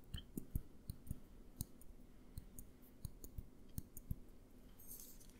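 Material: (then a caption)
Glass. Fingertips and nails tap a small clear glass jar with a green label, held upright and then tilted. The result is a quiet, irregular run of short, dull clicks with low thuds and faint bright ticks that die away almost instantly, ending in a soft, bright rustle.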